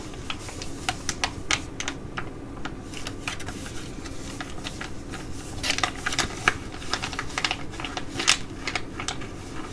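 A black Galantry laminated sheet mask packet, thin and flat, is scratched and tapped with long nails, first while held and then while lying flat. The clip has irregular sharp, bright clicks and crinkly scratches over a steady low rumble. The taps are short and dry, with clusters around the middle and near the end.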